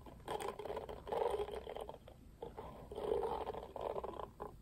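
Fingertips strum the black plastic bristles of a pink plastic oval paddle hairbrush. Soft, dry, rattling strokes come in uneven bursts, with a mid-range clicking texture and faint bright edges. The brushing swells and fades over a quiet background.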